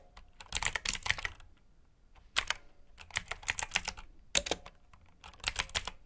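Fingertips with short nails type on a full-size black plastic mechanical keyboard with RGB backlit keycaps, clicky blue switches and hollow key housings. Bursts of bright, sharp clicks come in quick clusters separated by short pauses, each keystroke ending almost instantly.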